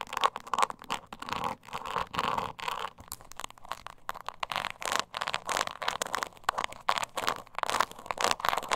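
Long nails scratch the sides of a small, hollow, croc-embossed leather mini purse held upright, producing dense, rapid scratching and scraping in quick bursts. The sound is dry and raspy, centered in the midrange with a bright, hissy edge and almost no low end.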